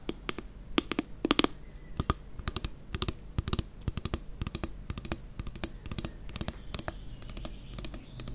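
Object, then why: Plastic pump bottle. Long nails tap on the pump cap and body of a plastic nail polish remover pump bottle. A quick, irregular run of sharp, dry, clicky taps rings out, each bright and gone almost instantly, over a low steady background hum.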